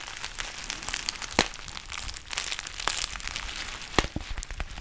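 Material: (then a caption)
Foil plastic. A black foil-lined plastic tea pouch with a white label is crinkled with the fingertips and fingernails close to the mic. Dense, bright crinkling and crackling runs throughout, with a few sharper snaps standing out near 1.4, 2.9 and 4 seconds.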